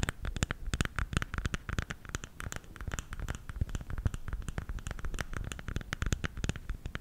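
A round bamboo salt container is held lid-forward in both hands while fingertips and nails tap and scratch its lid. Rapid, irregular dry taps and scratches sound out, each a dull low knock with a brief bright click that stops almost at once. Soft scratching fills the gaps between taps throughout.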